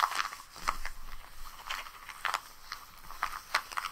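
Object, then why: Kraft paper bag. Long pink nails tap and scratch across the surface of a flat, empty brown kraft paper bag lying on a rug. The result is a series of short, dry, crisp taps and papery scrapes with a bright, crackly edge, spread unevenly over a quiet background.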